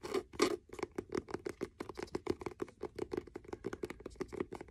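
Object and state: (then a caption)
Faux leather hardcover notebook. Fingernails tap and scratch the cover and spine of a solid blue faux leather hardcover notebook with cream page edges and a blue elastic band. A rapid series of about 29 dry, quick taps and scratches sounds with a hollow, mid-pitched knock around 350 Hz, each dying away almost at once.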